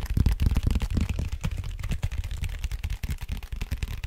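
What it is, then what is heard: Cardboard mailer box. Fingertips and nails tap and scratch across the flat face of a large, flat, brown cardboard vinyl mailer with red FRAGILE print, held upright in both hands. The hollow box gives a rapid, irregular run of soft, low, dull thumps that die away almost instantly, with a faint papery scratch on top.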